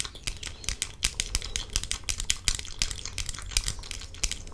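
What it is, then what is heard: Plastic sunglasses frame. Long fingernails on one hand tap and scratch the side of a clear plastic frame on pink-tinted sunglasses worn on the face. The result is a quick, irregular run of sharp, bright plastic clicks, each with a faint low thump and almost no ring, over a soft scratchy hiss.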